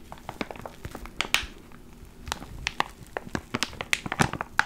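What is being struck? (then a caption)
Plastic zip bag with foam inside. A small clear plastic ziploc bag with a black foam mic cover inside is held in both hands and crinkled and squeezed with the fingertips. Dense, bright crinkles and sharp crackles come in quick irregular bursts, each snapping off almost instantly over a faint low hum.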